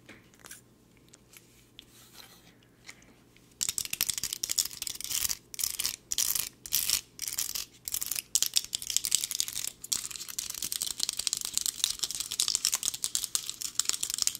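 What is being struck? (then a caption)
Small plastic hair claw clip. A small, hollow, toothed tortoiseshell plastic hair claw clip is held in the hands and tapped and scratched with long nails. After a few seconds of faint, sparse ticks, dense, fast, bright scratching and clicking starts and continues in short bursts separated by brief pauses.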